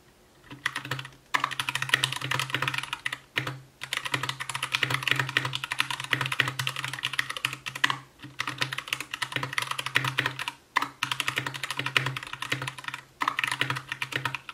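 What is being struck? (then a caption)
Plastic mechanical keyboard. An Anne Pro 2 60% mechanical keyboard with white plastic keycaps, a translucent case, RGB backlight and Gateron brown switches is typed on continuously with the fingertips of both hands. The result is dense, bright clacking in bursts separated by brief pauses, with a faint steady low hum underneath.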